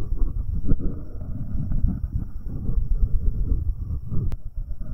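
Fingertips in rubber finger cots rub and tap directly on the right metal capsule of a binaural microphone pair. The result is a close, muffled stream of deep rumbling scrapes and soft thumps, almost entirely low in pitch, with one brief sharp click near the end.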